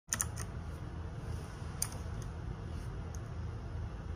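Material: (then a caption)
Plastic. Fingertips and nails tap rapidly on the plastic keycaps of a small RGB-backlit 60% Ducky One 2 Mini mechanical keyboard with a plastic case, resting on a desk. Quick, bright clicks ring out over a steady low hum throughout.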